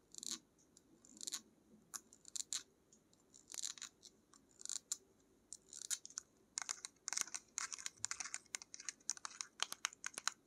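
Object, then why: Small plastic paint tube. Long nails tap and scratch a small pink-labelled paint tube with a black cap, likely laminated plastic. Quiet, bright, crisp ticks and scratchy rasps come in irregular bursts with short pauses between them. The sound is almost all high end with no low rumble, and each tick stops dead without ringing.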